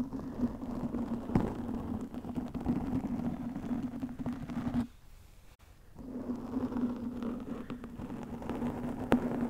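Long nails scratch and rub a black foam windscreen over a microphone, making a dense, crackly rustling with a steady low hum. The sound drops out almost completely for about a second near the middle, then the scratching resumes.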